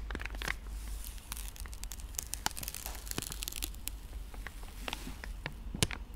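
A pink soft plastic wet-wipe pouch is squeezed and scratched with fingertips and nails, giving a dense run of sharp, bright crinkles and crackles. A steady low hum sits underneath throughout.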